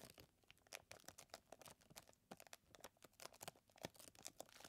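A clear plastic zip bag full of small chocolate chips is held and squeezed by the fingers, then set down. Quiet, bright crinkling and crackling plastic comes in rapid, closely spaced bursts with the faint rattle of the chips inside. Each burst is short and dry, with almost no low end.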